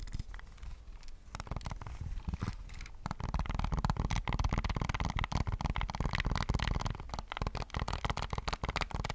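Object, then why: Plastic game controller. Fingertips and short nails tap quickly on the buttons and grips of a hollow plastic PS5 controller held in the hands. The taps come fast and irregularly as dull, bassy knocks mixed with short clicky edges. They start softer and grow louder after about three seconds, then stay busy to the end.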